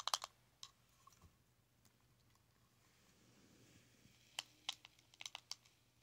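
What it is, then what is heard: Plastic blush compact. Long nails and fingertips tap a small round plastic blush compact with a metallic rim, lying on fabric. A quick cluster of sharp, bright clicks comes first, then a quiet pause with faint scattered ticks, then another run of crisp taps. Each tap stops almost instantly, with a faint tone around 1.1 kHz.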